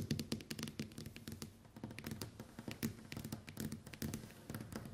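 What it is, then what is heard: Smartphone glass screen tapped with nails. Long white nails tap rapidly and continuously on the glass screen of a small, flat smartphone with a metal-look frame lying face up on a table. The taps are short, dull clicks with a low, woody body and very little ring.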